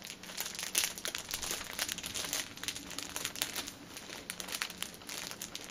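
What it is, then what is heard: Plastic-wrapped pack of pocket tissues. Long painted nails tap and scratch the top of a stacked six-pack of cellophane-wrapped paper pocket tissue packets lying on a table. The plastic film gives off a steady stream of bright, crisp crinkles and quick ticking taps. The taps are short and dry, with almost no low end.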